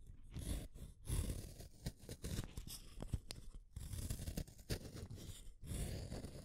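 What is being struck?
Wooden colored pencil.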